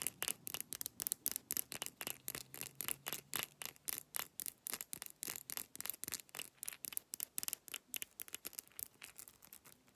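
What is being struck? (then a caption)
Glass pill bottle with capsules. Long nails rapidly tap and rub an amber brown glass supplement bottle with capsules inside, moving over the label, the cap and the textured glass bottom. About forty quick, crisp, bright clicks and scratchy rubs come in a fast, uneven rhythm, each dying away at once with no ring. The sound stays quiet throughout.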